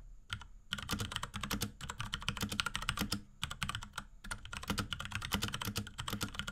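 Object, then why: Plastic mechanical keyboard. A small pink Akko x Ducky 3084 mechanical keyboard with Cherry MX Brown switches, plastic keycaps and a plastic case is typed on rapidly with the fingertips of both hands. Dense bursts of short, sharp clacks with a low thock beneath are broken by a few brief pauses, and each keystroke dies away almost instantly.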